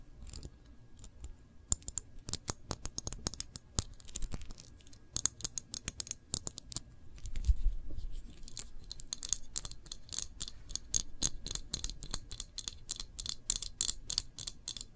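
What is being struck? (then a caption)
Glass jam jar with paper label. Long nails tap rapidly on a full glass jam jar held in both hands, moving between the glass and its paper label. Dense, irregular bursts of sharp, bright clicks with almost no ring sit over a faint low rumble, growing busier and steadier toward the end.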